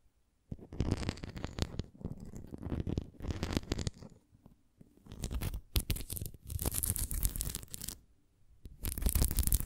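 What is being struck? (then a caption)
Thin plastic flying disc. A thin, translucent red plastic flying disc, about 25 cm across, with a hollow ring and a spoked center covered in small bumps, is held on its side and scratched and tapped with long painted nails. Close, dense bursts of scratching and rapid tapping come and go in waves, separated by brief quiet gaps. The sound is a dull, low, rumbly texture with crisp bright scratchy edges.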